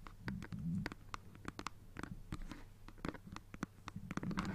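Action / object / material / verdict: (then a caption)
scrape / plastic handheld game console / plastic / none. A black plastic Nintendo Switch console is held in both hands while fingertips and nails scratch and tap its plastic back. Quiet, rapid, dry clicks and taps are heard over scratchy rubbing and a low rumble.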